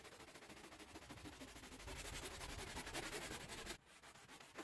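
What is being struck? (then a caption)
Woven rug scrubbed with a brush. A gloved hand scrubs the soapy pile of a small green and red patterned woven rug with fringe using a handheld brush. Quick, rough bristle strokes rasp across the wet fibers in a steady rhythm, building louder in the middle before dropping off abruptly near the end.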